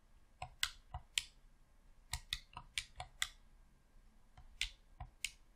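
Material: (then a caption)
Plastic. Thumbs click the thumbsticks and buttons of a hollow red plastic Xbox controller, producing a series of short, sharp, bright plastic clicks in irregular bursts. Each click is dry and dies away almost instantly, with quiet gaps between groups.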